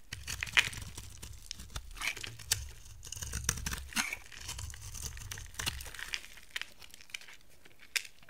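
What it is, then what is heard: Dry soap bar being carved. A hand-sized, solid brown-amber soap bar with a gold coating is carved with a utility knife blade into dry, curly shavings. Crisp, bright scraping and crackling strokes are broken by sharp clicks as the blade bites and the shavings break away, over a soft low rumble. The brittle soap peels off in crumbly, crinkling curls.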